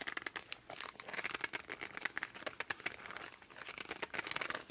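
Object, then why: Laminated cardboard board book. A laminated cardboard board book is held upright while palms and fingertips grip and rub its laminated cover. Short, squeaky bursts and dry crinkly rubbing come in quick, uneven runs across the clip. The sound is quiet and bright, with almost no low end.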